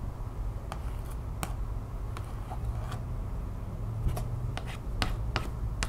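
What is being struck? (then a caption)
Cardstock print card tapped with fingernails. Long painted nails tap and scratch the printed surface and edges of a thin, flat cardstock art print card held up in the hand. Short, sharp, bright clicks and brief scratchy strokes sound at irregular intervals over a steady low hum.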